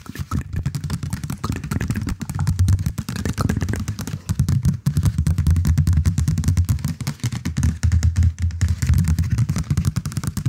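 A knitted or crocheted stuffed cushion is held upright in front of the microphone and scratched and tapped with fingernails across its knit texture. The result is a dense, continuous run of quick, dry scratching and soft tapping, heavy in low muffled thumps with very little high brightness, rising and dipping in loudness over the ten seconds.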